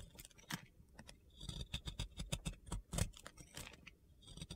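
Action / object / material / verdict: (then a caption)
scrape / round soap bar scraped with a metal blade / soap / none. A metal box cutter blade scrapes and carves powdery white soap from a solid, round soap coated in pink glitter. Short, crisp, gritty scraping and crunching strokes come at an irregular pace, with bright high-end detail over a low, soft body and brief pauses between bursts.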